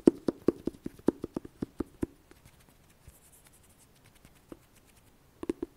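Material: Cardboard.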